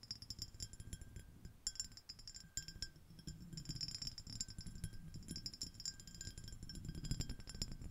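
Long acrylic nails of both hands tap and scratch a small, empty, clear iridescent ribbed shell-shaped glass dish. Dense, quick clicks and bright glassy chinks are heard over a low scratching rustle, with short ringing and a few louder taps.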